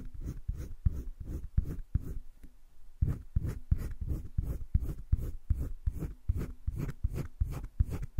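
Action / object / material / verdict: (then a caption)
scrape / wooden coloured pencil on sketchbook paper / paper / none. A green wooden colored pencil makes quick back-and-forth shading strokes on the right side of a heart drawn on flat, spiral-bound sketchbook paper. Each stroke gives a soft, dry scratching rub, repeating in a steady rhythm with a brief pause partway through. The scratches stop abruptly with no ring.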